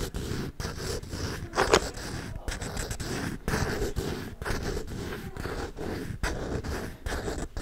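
A hollow wooden folding chess board, held horizontally, has its edges and surface scratched with fingernails and may be handled at the hinge or latch. The result is a series of dry, rasping scrapes separated by brief pauses, with a woody low-mid body, one brighter louder scratch early on, and little ring after each stroke.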